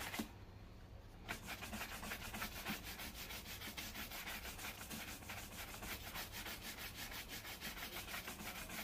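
A wooden-backed bristle brush is stroked quickly across a black leather loafer worn on a foot and steadied by one hand. After a brief, quieter start, a steady run of rapid, rhythmic brushing takes over at about three strokes per second. It makes a bright, dry, scratchy hiss with a soft low rumble underneath.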